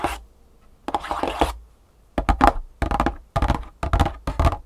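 Long fingernails of both hands tap quickly on the top of a long, hollow, printed cardboard shoe insole box lying flat on a wooden table. The taps come in short, irregular bursts of dull, hollow knocks with bright clicky edges, separated by brief pauses. Each tap dies away almost at once.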